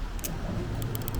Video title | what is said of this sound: A Rant About Tap. (Balisong Opinions!! 🙀🙅‍♂️💢) | we're tapping again with just the tiniest bit of loosening